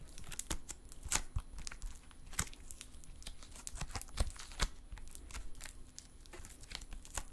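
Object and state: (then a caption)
Metallic stress putty. Silver metallic stress putty is held in both hands while fingertips squeeze, fold, stretch and pull it apart. The result is a steady run of sharp, bright pops and clicks with soft crinkling over a low, quiet rumble.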